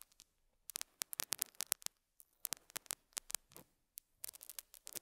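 A metal dental scaler hook scratches and picks at a small square beige felt pad fitted on a lapel mic. Quick, sharp, bright scratchy clicks come in irregular clusters separated by near-silent gaps. Each scratch is dry, with almost no low end and no ring.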